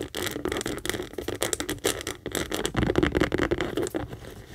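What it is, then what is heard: Leather handbag. Long acrylic nails rapidly scratch and tap the top edge and front leather panel of a medium pink Kate Spade saffiano leather handbag standing hollow on a table. The result is a dense, fast run of crisp clicks and rough scraping with a crackly, bright texture at a steady level throughout.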